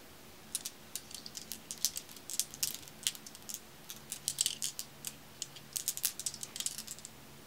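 Long-nailed fingers scoop handfuls of small, solid, dark, glossy glass marbles from a pile and roll them in the palm. The marbles knock together in quiet, bright, sharp clicks that come in irregular bursts and clusters. Each click dies away almost instantly, with very little low end.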